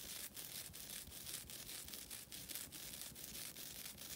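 Long nails scratch a flat, rectangular, thin and solid green nylon scouring pad held in both hands. The result is a steady, bright, rasping scratch broken by brief, evenly spaced dips between strokes.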